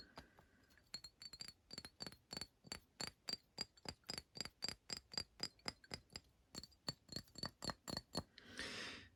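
Fingers tap on the glass bottle of a Paul Smith Sunshine fragrance, giving about 32 quick, bright clinks with a high ring that dies away almost at once. The taps come in uneven bursts at roughly three to four per second, and a short, soft broadband rustle closes the clip.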